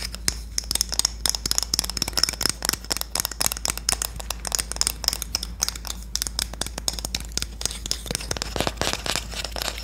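A Korean wooden spoon is tapped and scratched in a dense, continuous run of quick, dry clicks and scrapes. The sound is bright and crinkly with no ringing tail, over a faint low hum.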